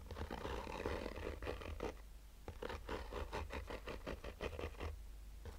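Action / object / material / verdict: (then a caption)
scrape / fabric-covered hard-shell sunglasses case / woven fabric / none. A black oval sunglasses case, textured woven fabric over a rigid hollow shell, is held in one hand and slowly scratched with short fingernails. Rough, dry scratching strokes come in repeated bursts over a steady low rumble, with a short pause midway before a quicker run of strokes.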